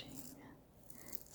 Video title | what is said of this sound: ASMR - Valentine's Cookies Show & Tell 🩷💌 - Soft Spoken, Lofi, Tapping, Scratching | And it does make a lovely scratching sound because of the sugar.